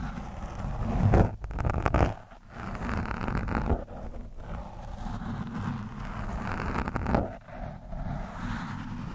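The thin steel shaft of a screwdriver scratches and pokes at a soft, porous orange foam windscreen on a microphone. This produces a close, muffled, rumbling scrape that is heavy in the low end, with several louder scratchy swells over a steady rustling bed.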